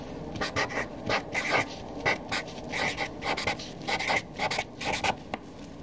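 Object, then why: Felt-tip marker on paper sheet. A Sharpie felt-tip marker writes a column of names on a flat white paper sheet lying on a desk. Its tip scratches across the paper in short, breathy strokes with brief pauses between them. The squeaky scratching sits mostly in the upper mids around 2 kHz, with a quiet hiss underneath.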